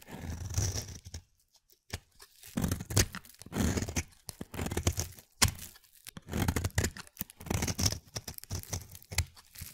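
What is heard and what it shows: A palm-sized, solid, translucent pale glycerin soap bar is held in the hand and scraped with a utility-knife blade, peeling off thin white shavings. Short bursts of dry, crunchy scraping repeat with brief silent gaps between strokes. Each stroke has a low, dull body under a bright tearing rasp.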